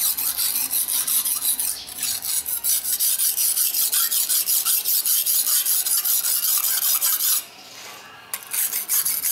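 A steel kitchen knife is stroked back and forth across a dark grey rectangular whetstone resting on a tiled floor, guided by fingertips. It makes a steady, bright, rasping scrape of about 20 quick strokes. The strokes pause briefly near the end, then resume for a few final passes.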